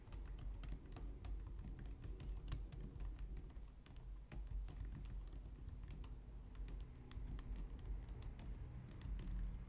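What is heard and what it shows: Long nails type rapidly on a white low-profile plastic computer keyboard, recorded close up. A steady stream of short, bright plastic clicks and taps sits over a constant low hum, with no speech.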